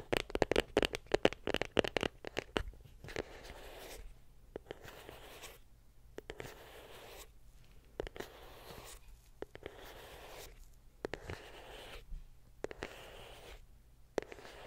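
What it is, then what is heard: Small cardboard box. Long pink acrylic nails tap and scratch a small, white, printed cardboard iPhone box that is closed, hollow and held upright. A quick run of sharp, dry clicks opens the clip, then gives way to soft, papery scratching strokes broken by short pauses.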